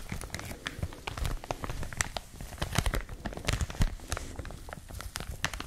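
A clear plastic packaging wrapper, held close to the microphones, is crinkled and squeezed with fingertips and long nails. Dense, rapid crackles and crinkles overlap continuously, with short bright snaps over a low rustling body.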